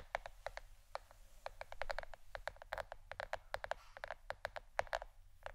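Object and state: Plastic board tapped with fingernails.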